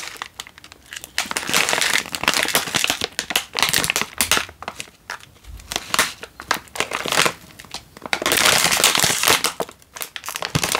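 A single Indomie instant noodle packet in its plastic wrapper, full with a dry noodle block, is held in one hand and squeezed. The wrapper crinkles and the noodles crunch in dense, irregular bursts of bright, papery crackle, with longer loud stretches around the middle and near the end and quieter gaps between squeezes.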